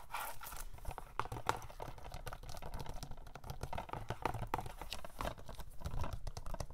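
A hand-sized hollow plastic DVD case of *Blood In Blood Out*, with a price sticker and possibly still shrink-wrapped, is held in both hands and tapped and scratched with short painted fingernails and fingertips. It makes a quiet, continuous run of quick, dry clicky taps with crinkly scratching between them. Each tap dies away instantly, and the sound has a soft low thump beneath a mid-range plastic tick.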